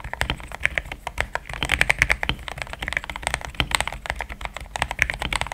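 Fingertips of both hands type steadily on a compact pink-and-cream plastic mechanical keyboard with thick XDA-profile keycaps, Gateron Yellow switches and a polycarbonate plate, sitting on a desk mat. A quick stream of dense, short keystrokes clacks with a bright, poppy character centered around 2 kHz, each click dying away almost instantly.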